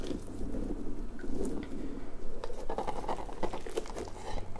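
Fingertips and nails scratch and rub the spiky tendrils of a large, hollow, soft pink rubber puffer ball. The result is a steady stream of soft, crunchy, crackling scratches with a low rumbling undertone and scattered brief bright ticks.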